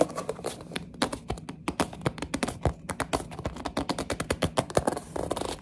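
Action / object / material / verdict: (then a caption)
tap / small cardboard toy box / cardboard / none. Long nails tap fast and grip a small orange printed cardboard box of mini building blocks, producing a rapid, uneven run of dozens of short, dry taps. The taps have a hollow papery knock around 570 Hz that dies away almost instantly, with soft scratching and rubbing between them.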